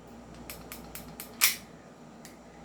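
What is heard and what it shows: A non-upgraded silver Trex 5.1 Hi-Capa airsoft pistol is shaken, and its metal slide and frame give off seven bright, short clicking rattles, one much louder than the rest. The slide is loose and still has play.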